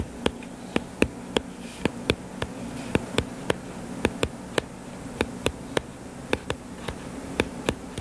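Fingertips tap rapidly on the cover of a solid purple-covered paperback book lying flat, making 22 short, dry, clicky taps with almost no ring, spaced irregularly over eight seconds. A steady low buzzing hum runs underneath the whole time.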